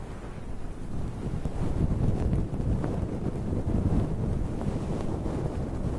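Fingertips and nails of both hands dig into a soft, fluffy grey-and-white synthetic fur windscreen over a microphone, rubbing and scratching it like a head massage. The result is a continuous, muffled low rumble with rustling, wind-like scratching textures that swell and ease over six seconds, with almost no bright content.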